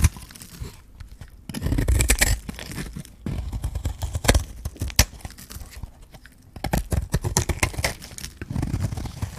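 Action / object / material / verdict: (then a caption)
scrape / bar of soap / soap / none. A metal blade scrapes and shaves the surface of a hand-held, solid green bar of dry soap. Bursts of dry, crunchy scraping and crackling come with sharp crisp snaps and a heavy low rumble, separated by short quieter pauses.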